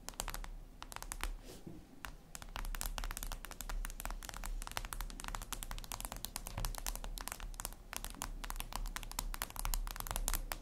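Long red acrylic nails tap and scratch on a flat, glossy, black reflective glass surface, likely a tablet screen. Rapid, sharp, bright clicks and ticks patter almost continuously, with short scratchy strokes between them. A steady low hum runs underneath throughout.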